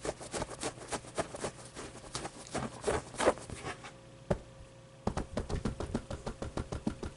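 Dark-painted fingernails and fingertips scratch the fuzzy pile pit of a stuffed polyester plush avocado toy and tap and pat its soft fabric surface. Quiet, dry scratches and soft muffled pats come in an uneven series, with a brief lull before a fast run of taps as the hand speeds up at the end.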